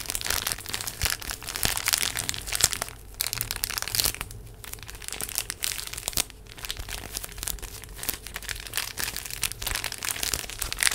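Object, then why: Plastic-wrapped paper tissue pack. A full, small rectangular pack of paper tissues in a printed plastic wrapper is held in both hands near the mic and squeezed and crinkled with fingertips and long nails. The result is a dense, bright crackling of plastic crinkles with many quick overlapping snaps. It eases briefly around three, four-and-a-half and six seconds before picking up again.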